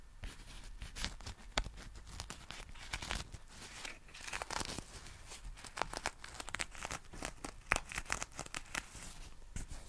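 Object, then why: Folded nylon umbrella fabric. Fingertips scratch and rub the fabric of a black folded nylon umbrella held in both hands. The result is a steady, quiet stream of dry crinkling and scratchy rustles, with sharp bright ticks scattered throughout and a few louder swells. Each sound stops instantly, with no ring.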